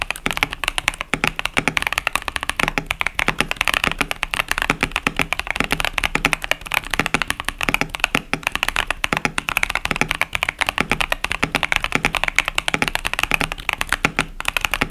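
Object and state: Plastic mechanical keyboard.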